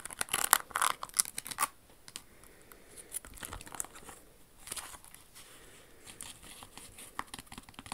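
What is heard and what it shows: Long acrylic nails scratch and tap the crystals and metallic red insole of a red rhinestone Jimmy Choo pump with a crystal toe ornament. A burst of sharp, bright clicks opens the clip, then settles into quieter, crisp scratching with scattered light taps.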